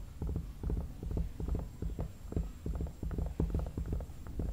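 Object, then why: Hollow vinyl mannequin head. Fingertips and nails tap the forehead and cheeks of a hollow vinyl mannequin head. A quick, uneven run of soft, low, hollow thuds follows with short, dull decays and no bright edge.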